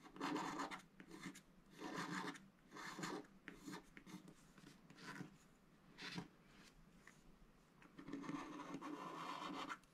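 A wooden stylus scrapes the black coating off a scratch-art paper sticker sheet, working over the top motifs. Short, dry, raspy scratching strokes come in uneven bursts with brief quieter pauses between them, ending in a longer, steadier stretch of scraping.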